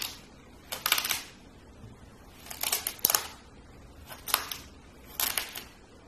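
A small, solid blue kinetic sand castle molding, held with fingertips, is crushed and scooped with a metal spoon. It gives five bright, crisp bursts of crunching and scraping, separated by near silence. The sound is high and gritty with almost no low end.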